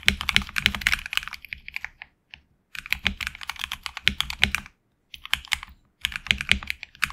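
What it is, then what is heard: Mechanical keyboard with PBT keycaps. Fingertips type on a HyperX Alloy Origins Core mechanical keyboard with HX Red switches and backlit black and red PBT keycaps, seen in a side close-up. Quick, bright clacks come in three fast bursts with brief pauses between, each keystroke short and crisp with almost no ring.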